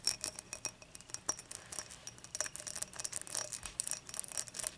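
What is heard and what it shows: Long matte nails tap and scratch the base and rim of a clear, dimpled glass beer mug lying empty and tilted on its side. A rapid, uneven run of light, bright clicks mixes with soft scraping, each tap giving a brief high glassy ping that dies away almost at once.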